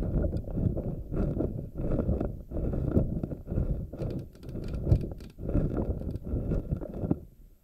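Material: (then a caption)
Silicone. A hand grips and squishes a pink silicone anemone ball with tentacles while fingernails rub over its rubbery strands. The result is a soft, muffled squishing and rubbing in repeated bursts, heavy in the low end with almost nothing bright.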